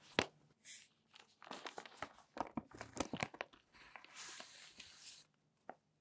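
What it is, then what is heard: Newsprint newspaper. A folded newsprint newspaper is lifted in both hands, shaken open and unfolded, then pressed flat on the table with the palms. A sharp paper snap opens the clip, followed by a run of crisp crackles and crinkles. Two broad, bright rustling swells come as the sheet is spread, and one final soft tap lands after a short pause.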